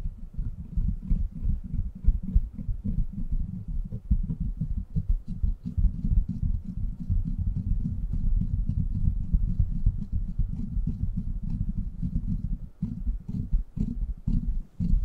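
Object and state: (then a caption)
Metal mesh microphone grille being rubbed and tapped. Hands rub the sides of a silver microphone with a steel mesh head, then fingertips scratch and tap its hollow metal mesh grille. The result is a dense, continuous stream of low, muffled rumbling and thumping close to the mic, with rapid soft taps and faint bright scratchy ticks on top. There is a brief drop in level near the end before the tapping resumes.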